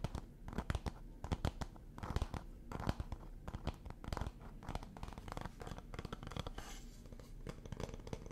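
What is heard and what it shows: A palm-sized, hollow, light bamboo or wood stand with a slot is held in both hands and tapped and scratched with fingertips and nails. The result is a quick, uneven run of soft, dry, low-pitched knocks mixed with brief scratching rasps. Each tap dies away almost instantly.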